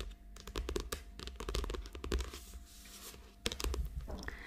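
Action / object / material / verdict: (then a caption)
tap / paperback book with glossy cover / paper / none. Long acrylic nails tap and scratch the glossy cover of a small, thick paperback book lying flat and solid on a table. Quick dry clicks and crisp scratches come in an irregular stream, then ease into a quieter rubbing stretch before a sharper cluster of taps. The clip ends in a bright scratch, all over a faint, steady low hum.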